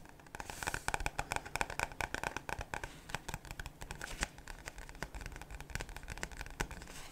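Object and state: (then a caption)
Paperback book. Fingertips and nails tap on the paper cover of a solid paperback Goosebumps book, then its pages are flipped and rubbed. The result is a rapid, dense run of crisp, dry taps and bright papery rustling and crinkling, with short clicks that stop almost instantly.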